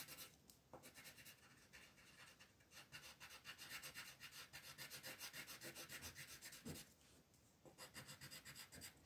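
A pink wooden colored pencil rubs back and forth across a flat white paper coloring page, shading in a petal. The quiet, bright, scratchy strokes repeat at roughly four per second, with a brief lighter pause near the seven-second mark before the shading resumes.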